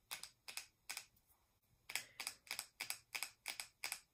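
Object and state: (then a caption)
Plastic cosmetic jar. Long nails tap quickly on the lid and sides of a small, round, metallic-finish plastic cosmetic jar held in both hands. Short, bright clicks come in quick, slightly uneven bursts, with a brief quieter pause partway through. Each tap dies away almost instantly.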